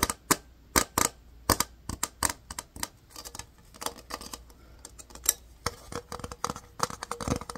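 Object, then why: Small hard-plastic case. A small, hollow, empty, transparent hard-plastic case is tapped and scratched with fingertips and nails. Irregular, sharp, bright clicks and taps with almost no ring come in uneven bursts over quiet, faint scratching.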